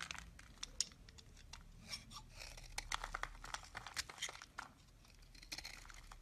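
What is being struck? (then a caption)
Bar of soap scraped with a blade. A utility knife blade shaves and scrapes flakes off a solid, hand-sized lilac Duru bar of soap held in the palm. The result is a quiet run of crisp, bright scraping and crunching strokes with a soft crinkly, tearing texture and low background hum.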